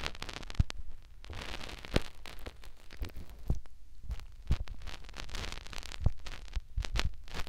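Fingertips rub and poke into a white silicone ear on a plastic binaural microphone. Close, crackly scratching and rustling fill the clip, with soft, deep thumps and brief bright bursts of friction noise as the fingers press in.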